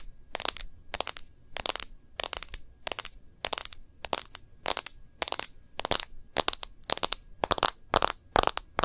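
Long nails tap and scratch the glass screen and the edge of a white-front smartphone in a rose-gold bumper case, held landscape. Quick, bright, clicky taps arrive in short clustered bursts with faint scratching in between. Each tap stops almost instantly, leaving near silence between bursts.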